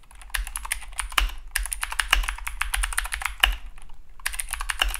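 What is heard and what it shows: Both hands type continuously with their fingertips on a compact Keychron K2 (V2) mechanical keyboard with blue clicky switches, dark plastic keycaps and an orange Esc key, resting on a desk mat. Rapid, bright, sharp clicks come mostly from the switches rather than the case, with a few louder keystrokes standing out over a steady low hum.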